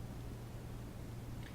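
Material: Nothing is struck.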